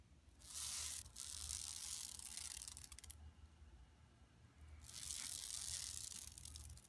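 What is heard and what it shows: Long nails scratch the lower edge and the center of a flat, empty yellow woven plastic mesh tote bag lying on carpet. Dry, bright, hissy scratching comes in two long stretches separated by a quieter pause, over a faint steady low hum.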